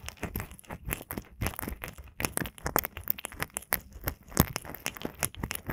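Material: Silicone.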